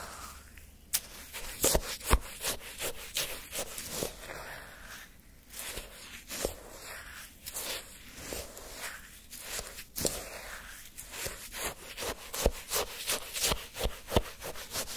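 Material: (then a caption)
Ice. A wooden spoon held in the fingertips digs, scrapes and scoops orange sherbet shaved ice in a paper cup. Irregular crunchy, gritty scrapes and sharp crackles with a bright hiss repeat throughout.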